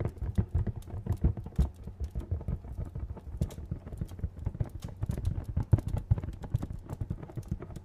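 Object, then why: Printed cardboard box. A hollow, medium-sized printed cardboard retail box is tapped rapidly with fingernails close to the mic. The result is a dense, uneven patter of short, dull knocks with a deep hollow thump, the irregular rhythm loosely resembling trotting hooves. Faint bright clicks sit on top, and each tap dies away almost instantly.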